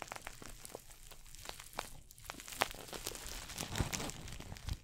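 A small red glossy coated-nylon pouch shoulder bag, held near the mic, is scratched and squeezed with long fingernails and fingertips across its crinkly surface. The result is close, quiet crinkling and scratching with many sharp, bright ticks and taps that stop instantly, over a soft low rustle.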